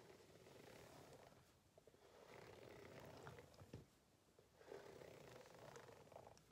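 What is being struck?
Ribbed rubber hot water bottle.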